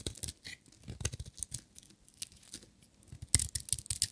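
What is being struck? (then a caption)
Bar of soap shaved with a metal blade. A metal utility knife blade shaves a solid, dry, green glittery striped bar of soap coated in varnish. The soft, dry scrapes and crackles come in quick, uneven bursts, bright and crisp with dull low thuds underneath. A sharper, louder cut lands near the end, and each sound stops dead with no ring.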